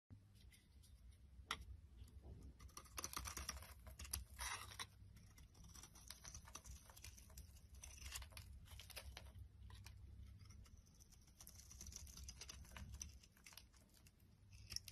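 A solid striped purple and white bar of soap is held in the hand and carved with a box-cutter blade, shaving off crumbly flakes. Quiet, dense scraping and crackling patter runs throughout over a steady low hum, with brighter bursts of crumbling at the louder cuts.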